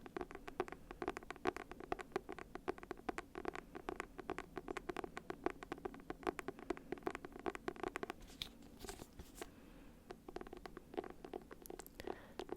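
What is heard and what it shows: Fingertips tap and scratch on the simple, clean cover of a copy of Han Kang's novel Human Acts. The result is a quick, steady stream of light, dry clicks with a faint mid-range tone. The pattern briefly thins into softer scratching near the end.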